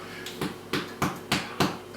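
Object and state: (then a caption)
Baked-through soda bread (hollow). A soda bread loaf, after 30 minutes in the oven at 200 °C, is tapped on its bottom five times, each tap giving a short, hollow, dull knock. The hollow sound shows the loaf is baked through, and inside it is yellow and fluffy.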